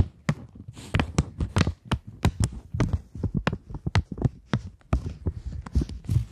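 A single polymer £20 plastic banknote is held flat, flexed and pulled taut between fingers while long nails tap and crinkle it. A rapid, uneven series of sharp, dry taps and crackles sounds close, each with a soft low thump and a brief bright click that dies almost instantly.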